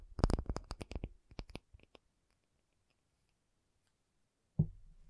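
An acrylic object is tapped in a quick run of about eleven short, dull taps with a low, thumpy body and little ring. The taps slow and fade out, followed by about two and a half seconds of silence and then one heavier knock.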